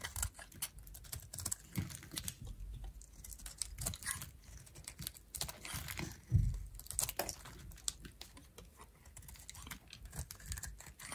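A metal utility knife blade repeatedly carves and shaves flakes off a pink, solid oval bar of dried soap held in the hand. Quick, crisp scrapes and dry ticking cuts follow one another in a dense, uneven rhythm, with soft low thumps beneath. One stronger, heavier cut stands out near the middle.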